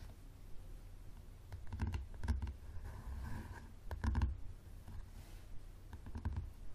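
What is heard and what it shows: A yellow paperback book, first tilted and then lying flat on a table, has its cover tapped and scratched by fingernails. Quiet, dull taps and soft scratching sounds come in clusters, with most of the energy in a low thud and very little high-end brightness. Each tap dies away almost instantly.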